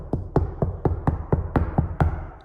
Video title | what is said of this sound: OK I Am Doing It! Building a New Van Home. Step One | It sure is a huge sound difference. Like this was a hollow sound before. Like that sounds solid.